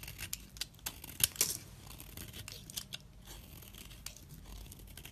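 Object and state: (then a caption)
Bar soap being shaved. A utility-knife blade scrapes thin slices and fine fringed shavings from a solid orange bar of soap held in fingers with glitter nails. The result is a series of crisp, bright scraping and cutting strokes with sharp, dry crackles, loudest near the start, followed by a softer, continuous rasp.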